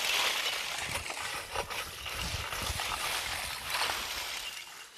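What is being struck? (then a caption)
Wood charcoal pieces. Freshly harvested wood charcoal from the kiln, some pieces still glowing, clinks with a bright, glassy sound as it is handled and quenched. Light, brittle chinks and rattles sit over a faint outdoor hiss, with birds twittering in the background.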